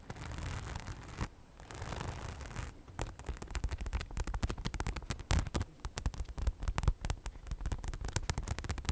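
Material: Faux leather.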